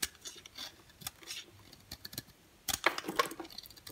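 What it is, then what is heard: Dry bar soap. An orange striped bar of very dry solid soap, held in the hand, is scraped and cut with a green box cutter blade, shaving off crumbly flakes. Quiet, dry scratching and crisp, bright ticks come at an irregular pace, with sharp cuts and crackly crumbling growing louder in the second half.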